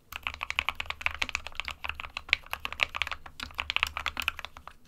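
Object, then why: Mechanical keyboard with plastic case and keycaps. An SK61, a small 60% mechanical keyboard with a plastic case and plastic keycaps, hollow with switches inside, is typed on continuously with the fingertips of both hands. It gives a rapid, uneven stream of sharp, bright plastic clicks and clacks that stop almost instantly, over a faint low hum.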